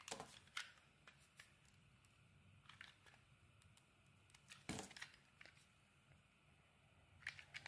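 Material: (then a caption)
Soap. A utility knife blade shaves the edges off a solid cream bar of soap held in the hand. Crisp, bright scraping and crackling cuts come in short bursts over a quiet, steady hiss, with the strongest stroke near the middle.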